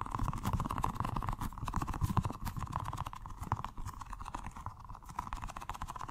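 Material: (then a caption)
Rubber. A small, colorful rubber stress ball filled with gel water beads is held in the hands and tapped and squished rapidly with the fingertips. The result is a fast, continuous patter of dull, low, soft thuds with short squishy clicks and almost no ring. A steady mid-range tone runs underneath throughout.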